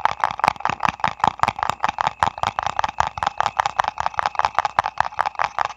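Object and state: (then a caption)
Printed paper ice cream cup. A small printed paper ice cream cup is held close and tapped and scratched with fingertips and nails. The result is a rapid, uneven run of short, dry, papery taps with a hollow midrange tone, mixed with light scratching and almost no ring after each hit.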